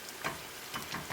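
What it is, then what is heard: Crispy fried tofu. Shallow-fried coated tofu pieces, cooked on both sides, are tapped in the pan to show how crispy they are. A few short, dry ticks rise over a steady, faint hiss of frying. The pieces sound very crispy.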